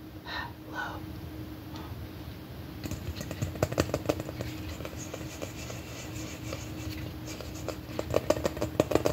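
Long dark-painted nails tap and scratch a large hollow red plastic M&M-shaped candy container held in both hands. A soft, continuous scratching runs throughout, broken by sharp, quick, hollow plastic taps that cluster near the middle and end. A faint steady hum sits underneath.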